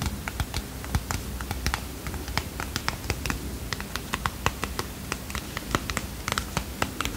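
A small red and white cardboard playing card box, closed and apparently holding cards, is tapped and scratched with fingernails. Quick, dry clicks and taps come in a rapid, irregular patter, each dying almost at once with a bright papery edge. Soft scratching and a faint low hum run underneath.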